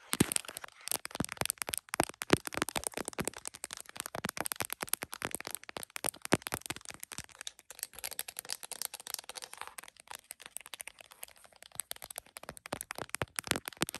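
Long nails rapidly tap and scratch across the back of a smiley-face plastic case on an iPhone held in a tripod mount, going around the camera lenses. The result is a dense, rattly stream of dry, clicky taps with bright edges and almost no ring.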